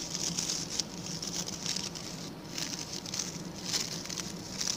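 A small round, ring-shaped brush of stiff brown natural coir bristles with a center hole is held in one hand while its bristles are flicked and scratched with a pink plastic tool and fingertips. A dense, quiet, crackling scratch with rapid patter-like ticks and a bright hiss runs throughout over a faint low hum.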